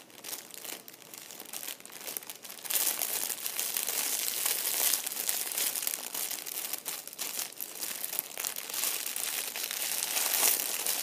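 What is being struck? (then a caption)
Thin plastic bag holding plastic candy wrappers. Fingertips crumple and squeeze a small, clear, thin plastic bag that is partly full of hollow red-and-white plastic candy wrappers, held on a cushioned chair seat. Sparse, soft crinkles in the first few seconds give way to a louder, dense stream of bright, crackling crinkles that continues to the end.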